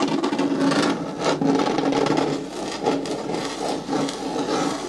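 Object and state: Plastic caddy bin scratched with nails.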